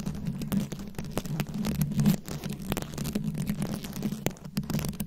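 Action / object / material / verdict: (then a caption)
scrape / microphone head covered in rhinestone beads / glass beads / none. Long nails scratch across the rhinestone beads covering a round microphone head, making a rapid stream of crisp, bright clicks and scrapes. Underneath runs a steady low hum around 150–200 Hz, and the scratching swells and fades without a pause.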